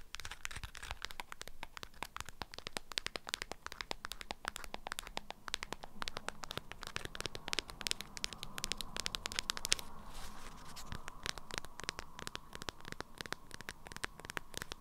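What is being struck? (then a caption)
Beeswax-coated fabric wrap. Long nails scratch and tap a package wrapped in an orange-print beeswax fabric wrap, producing a dense, steady stream of quick, dry, crinkly clicks and scratches. The taps are short and bright with almost no ring, over a low, faint background rumble.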